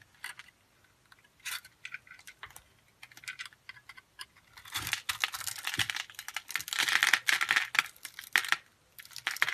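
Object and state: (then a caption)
Bar soap being scraped and cut. A solid, hand-sized pink bar of soap is held in the hand and scraped and cut with a metal utility blade, shaving off tiny soap cubes. Short, dry, crackling scrapes come in scattered bursts at first, then turn into denser, louder, bright crunching cuts through the second half.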